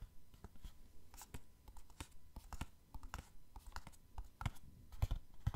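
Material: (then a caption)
Cardboard. Long fingernails tap and scratch a small printed cardboard box of an OPI Mariah nail polish set with a plastic window. The result is a quick, irregular series of soft, dry clicks and brief scratching sounds. Each one dies away almost instantly.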